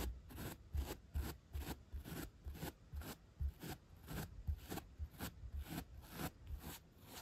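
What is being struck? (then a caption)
Upholstery foam block rubbed with a bristle brush. The bristles of a bottle brush are rubbed back and forth across a solid 3-inch white upholstery foam block. The result is a steady run of quick, rhythmic brushing strokes: each one is a bright, airy scratch over a soft, low thump, with brief quiet gaps between strokes.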